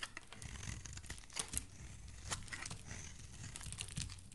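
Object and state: Soap bar being shaved.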